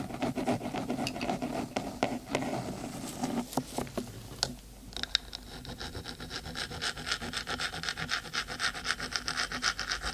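Fingertips, then long stiletto nails, scratch quickly along the metal top of a hollow, black, cylindrical 3Dio binaural microphone housing. The first half is a softer, fuller rubbing; about halfway through it turns into a denser, bright, rapid scraping with a steady raspy texture.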